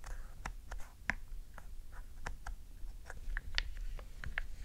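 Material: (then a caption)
Plastic. A black hollow plastic Nintendo GameCube controller resting on a fluffy rug is tapped and button-clicked with long decorated nails and fingertips. Short, dry, bright clicks and taps are heard in a quick irregular series over a low, steady rumble.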